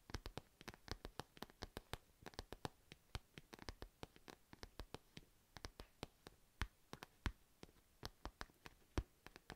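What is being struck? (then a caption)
Padded fabric pencil case. Long nails scratch across the printed surface of a purple padded fabric cat pencil case, making a quick, uneven run of short, dry scratching ticks. Each stroke is a brief, crisp burst with bright edges over a soft low rustle, and it dies away almost at once.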